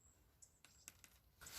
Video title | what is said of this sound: Einfacher Weinschnitt, Sommer + Winterschnitt, Neuzucht (in Jahr 4, Tutorial 2021) | If that sounds hollow, it's dead. So they appear to be alive.